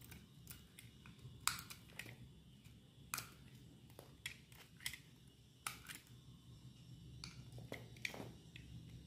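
A solid white bar of dry soap held in the hand is shaved into flakes with a metal utility knife blade. Repeated short, crisp scraping cuts crackle brightly over a steady low background rumble, each stroke dying away almost instantly.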